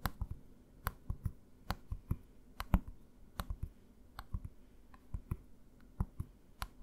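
A green plastic bottle, held tilted in one hand, is tapped by the fingertips of the other hand in an uneven rhythm of about 17 quiet taps. Each tap is a short, dull, low thump with a faint bright click on top, and it dies away almost at once.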